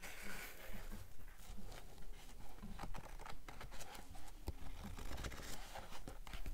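Long acrylic nails tap and brush across the cream paper pages of a thick blue paperback book held open, with the pages possibly flipped too. About fifteen soft, muffled taps fall at a fairly steady pace, each cut short, over a low, papery rustle.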